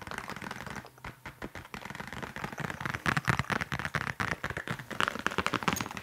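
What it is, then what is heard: Leather case. Long nails and fingertips tap and scratch a flat, rectangular black leather case or wallet in a fast, dense flurry of sharp clicks. Short scratching strokes run between the taps, and each tap dies away almost instantly.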